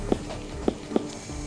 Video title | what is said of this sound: Vet Helps Greyhound with Severe Running Accident - Bondi Vet Coast to Coast Season 2 - Full Episode | we know when it's right when we can flick it and it sounds like a watermelon means that the pressure is enough